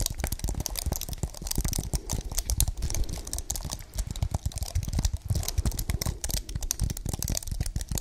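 A slim white wireless keyboard with plastic keys on a solid, thin aluminium base about 28 cm wide is held up close to the microphones and tapped and typed on with long painted fingernails. It makes a steady run of rapid, crisp clicks and clacks with a deep, thumpy low end. Each tap stops dead with almost no ring.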